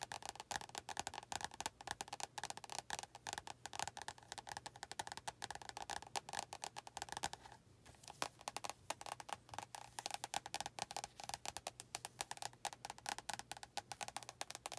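Long nails tap quickly on the glossy front cover of an orange paperback book, then on its red back cover, with a short pause near the middle. The taps are quiet, dry, bright clicks with a hollow knock around 1 kHz and almost no ring, over a faint steady low hum.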